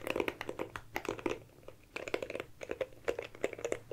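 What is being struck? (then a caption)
Small plastic hairbrush. A small, dark, oval compact hairbrush with a plastic back and bristle side, held close to the microphone, is tapped and scratched with long manicured nails on its plastic back and bristles. The result is a quiet, rapid run of crisp clicks and scratchy crackles with a mid-pitched plastic body and bright edges. Each sound dies away almost instantly, with a brief lull near the middle.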